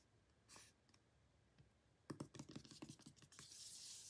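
Short painted nails of both hands tap and scratch a hollow pink cardboard album box lying on a table, first on its back and then on its closed front. After a quiet, soft scrape, a quick run of about twelve crisp, dry taps rings hollow, then gives way to a bright, hissing scratch at the end.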